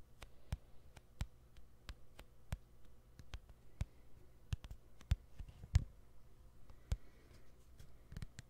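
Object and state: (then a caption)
Plastic phone back tapped. Fingernails tap the white plastic back cover of a white smartphone held sideways, making about twenty quiet, sharp clicks at an irregular pace. Each tap dies away almost instantly over a steady low hum, with a few taps landing louder than the rest.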